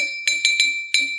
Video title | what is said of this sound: Sound - A Kansas Connections program | that would be the lowest yes